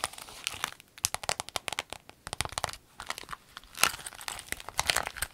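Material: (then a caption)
Vinyl. A rainbow clear vinyl pencil case, rolled into a tube, is squeezed and crinkled in the hands. It makes dense bursts of sharp, bright crackling and crinkling with almost no low end, broken by brief quiet pauses. A louder squeeze comes near the end.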